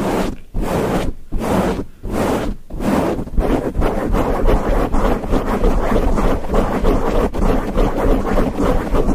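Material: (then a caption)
Foam. Fingertips of both hands scratch a grey foam windscreen on a microphone, producing rough, muffled rustling with a heavy low rumble. It starts as a few separate bursts with brief gaps, then becomes continuous rapid scratching for the rest of the clip.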